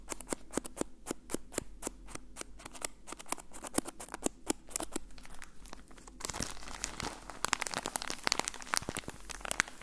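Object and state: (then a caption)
Plastic bag of cotton balls. A soft, full, hand-sized plastic bag with an orange label, filled with cotton balls, is squeezed and crinkled with fingertips. It makes rapid, dense, bright crinkles over a low background hum. Around the six-second mark the crinkling grows louder and fuller.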